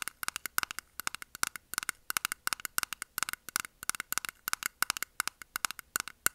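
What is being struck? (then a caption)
Small round plastic container. A small, round, closed clear plastic jar-type container holding pink makeup puffs is held in the hand and tapped and scratched with long nails. About forty quick, dry clicks come in uneven bursts, each with a hollow plastic tone near 1.5 kHz and a bright, crackly edge that dies almost instantly.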